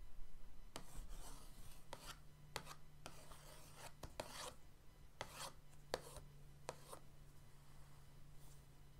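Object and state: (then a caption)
Cardboard box lid, scratched and rubbed. The end of an orange paintbrush is traced over the lid of a flat, printed cardboard paint-set box. It makes soft, dry scratching and rubbing strokes with a bright, hissy edge, spread in short bursts across the clip. A quiet, steady low hum runs underneath throughout.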